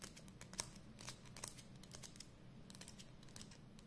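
Long nails tap and scratch along the label and barrel of a hollow black and red plastic Edding 300 permanent marker held close up. Quiet, crisp, bright ticks and scratchy clicks come in quick irregular bursts and die away almost instantly, over a faint low hum.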